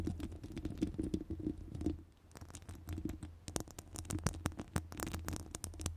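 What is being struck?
Metal wire-mesh microphone grille.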